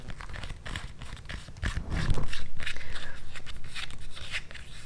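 Long nails and fingertips tap and scratch the straps and thick white foam/rubber sole of a hand-held, empty blue synthetic-leather strap sandal with a tan footbed. Quick, fairly steady dull taps with short crinkly scratches grow louder about halfway through and stay close and dry.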